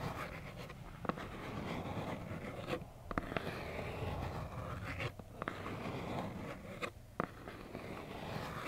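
Long black acrylic nails scratch a small, hollow plaid cardboard tissue box. The result is a steady, soft, muffled scraping with a dull low body and little brightness. Brief sharp clicks stand out every so often, and short quieter pauses fall between strokes.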